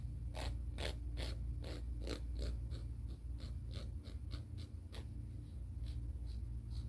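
Fingernails are filed along the abrasive face of a grey emery board nail file, making quick, uneven rasping strokes with bright, scratchy edges. The strokes repeat steadily over a constant low rumble.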